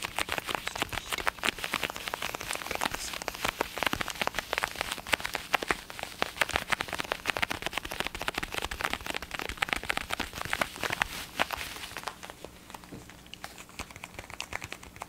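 A black and blue plastic gaming headset with hollow ear cups is tapped and scratched with fingertips and nails. The result is a dense, rapid patter of short, dry clicks and scratchy crackles with bright highs and little low end. It eases off and grows quieter near the end.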